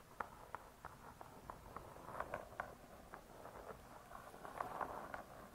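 Long dark stiletto nails tap and scratch the glossy laminated board cover of a medium spiral-bound cookbook, "Vegetarian Cookery 2," with metal coil binding, lying closed on a soft cloth. About seventeen quiet, dry, short taps with a mid-range click are heard, with soft scratching between them. There is little low or high content, and each tap dies away almost at once.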